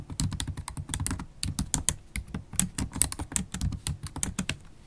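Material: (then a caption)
Plastic. Long acrylic stiletto nails type quickly on a MacBook Pro keyboard with black plastic keys in an aluminium body. Rapid, dry clicks and taps combine a low thud from each keypress with bright, sharp nail clicks, with no ringing after each stroke. The typing runs steadily throughout and eases off slightly at the end.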